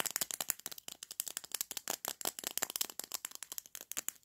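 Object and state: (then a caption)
Plastic lipstick tube. Fingertips and short nails rapidly tap and click on a small hollow lipstick tube with a pink-orange plastic body and a clear plastic cap, held in both hands. About 32 quick, dry plastic clicks come in a steady rattling run. They are bright with almost no low end and stop dead with no ring.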